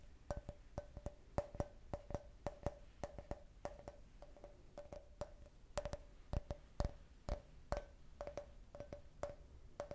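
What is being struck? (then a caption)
Can-shaped glass cup. An empty, hollow clear glass cup shaped like a beer can, with a printed logo, is tapped with long red nails in a quick, uneven rhythm. Each tap gives a sharp click with a short glassy ring near 580 Hz that dies away almost at once.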